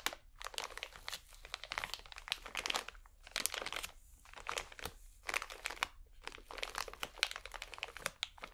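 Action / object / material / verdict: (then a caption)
scrape / pack of cotton swabs in plastic film / plastic film / none. A small, full pack of cotton swabs wrapped in crinkly plastic film is squeezed and crinkled between both hands. The result is dense, bright crackling and crunching in bursts, with short quieter pauses around 3.8 and 6 seconds.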